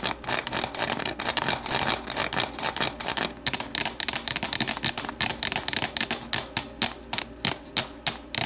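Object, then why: Thin plastic deli container. Long nails tap rapidly on the sides of an empty, hollow, translucent plastic deli container standing upright. The result is a dense stream of sharp, dry, bright clicks with almost no ring and very little low end.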